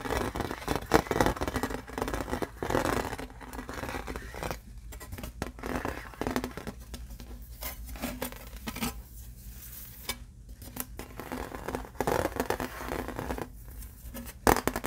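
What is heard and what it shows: A thin, embossed aluminum novelty "New Mexico" license plate is held in both hands and flipped from its printed side to its bare silver back. Fingertips and nails tap and scratch the embossed metal in quick, dense bursts of brittle clicks and scrapes with a steady low hum beneath. The sound stays soft, with brief metallic rings that die away fast.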